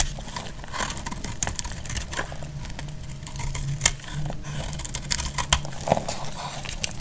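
A hand-sized bar of dried red soap, held in the hand, has crispy pieces cut and shaved off with a utility knife blade. Sharp, bright crackling snaps and scrapes repeat over a low steady rumble, leaving short, dry crunches with almost no ring.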